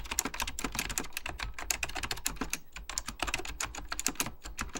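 Fingertips type rapidly on an Apple Extended Keyboard II, a plastic mechanical computer keyboard with beige plastic keycaps and a hollow plastic case. The result is a dense stream of dry, bright, clicky key taps with a short lull partway through, over a steady low hum.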